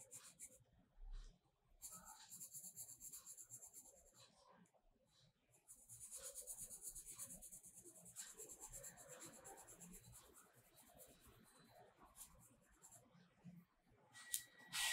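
A purple colored pencil is rubbed over a page of a spiral-bound paper mandala sketchbook lying flat to shade the petals, while the other hand steadies the page. Quiet, bright, scratchy hissing strokes come in short bursts with brief pauses, then settle into a longer stretch of steady shading. A sharp tick sounds near the end.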